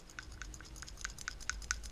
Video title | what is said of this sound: 2004 Impreza WRX STi PCV Valve cleaning and location positive crankcase vent | This should rattle. Like, it does pretty freely.